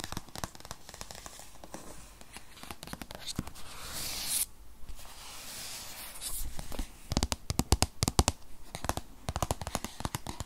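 Long nails tap and scratch a rigid white paperboard iPad box, the tablet-sized box holding a 2020 8th-generation iPad. Sharp, dry clicks come in quick clusters, broken by brighter scratching hiss around the middle. Near the end the taps grow louder and denser.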